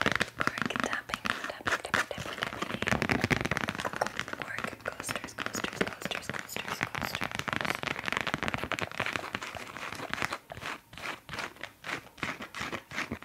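Fast tapping on cork coasters makes a dense stream of sharp, dry, crackly clicks that barely ring. The taps blur together for the first ten seconds, then space out into distinct, separate knocks toward the end.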